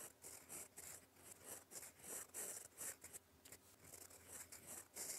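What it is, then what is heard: Fountain pen writing on paper. A gold fountain pen nib writes in black ink across a flat sheet of lined cream paper, scratching out cursive strokes. A series of short, separate, bright, high scratchy bursts rise and fall irregularly, with quiet gaps between strokes.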